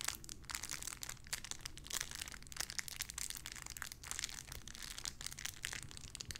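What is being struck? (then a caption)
Small clear plastic bag holding a soft squishy toy. A small clear plastic bag holding a pink paw squishy toy is squeezed and crinkled with fingertips and long red nails. The result is a dense, continuous run of bright, crisp plastic crackles and crinkles, with a faint low hum underneath.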